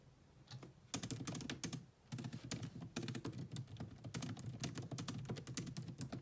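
Long nails type on a grey laptop's black plastic chiclet keyboard, making a rapid, uneven stream of short clicky key taps. The taps have a dull low body with a bright clicky top. They come in steady bursts, with a brief lull around the two-second mark before the typing picks back up.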